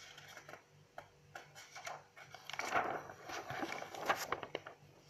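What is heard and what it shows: Long acrylic nails and fingertips flip and brush the white pages of an open, medium-size paper notebook. Soft papery rustles, scrapes and light taps come and go over a faint low hum, swelling into louder, brighter crinkling page turns near the three- and four-second marks before settling back to quiet rubbing.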